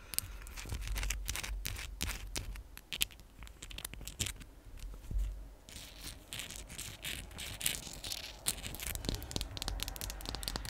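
A palm-sized raw pale pink rose quartz chunk, solid stone, is held near the mic and scratched and tapped with long pink acrylic nails. Dense, bright clicks and scratchy ticks run continuously over a low, muffled rumble, with sharp, short transients that die out almost instantly.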